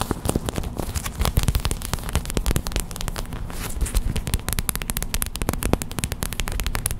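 Long white acrylic nails tap fast on a small clear plastic hot/cold pack filled with white gel beads, resting on a towel. The result is a dense, continuous stream of sharp, crackly clicks with a bright edge over a heavy low thump that runs the whole clip.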